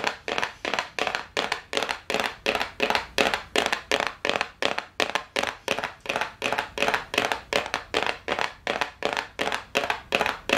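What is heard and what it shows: A small, hollow brown and gold cardboard gift box, held up close, is tapped quickly with long nails. The result is a steady run of fast, slightly uneven clicky taps, about three per second. They sound papery and bright, with almost no low end and a quick decay.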